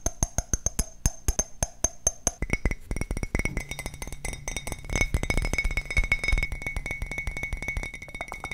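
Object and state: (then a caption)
Ceramic mug. Fingertips and nails tap the side of an empty, printed ceramic coffee mug with a handle. Evenly spaced, bright clinking taps carry a faint high ring, then break into fast, dense tapping that runs to the end.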